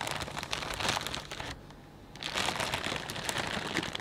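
Both hands press and crinkle a clear plastic bag full of potato chips, producing dense, bright crackling and rustling. The crinkling drops to a brief near-silent pause midway, then resumes just as busy until the end.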